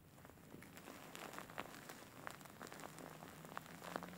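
Fingertips and nails scratch the fur of a large, soft, grey faux fur pillow with soft filling. The result is a quiet, steady, crackly rustle like light rain on a surface, with brief bright scratchy flicks rising above a soft hiss.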